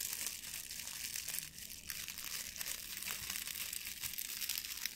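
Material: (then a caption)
Plastic foil. A blue metallic plastic ribbon gift bow is crumpled and rubbed with the fingers and nails, making a steady, dense crinkling and crackling. The sound is bright and hissy, almost all high frequencies with barely any low end. It keeps up an even, quiet level of rapid small crackles throughout.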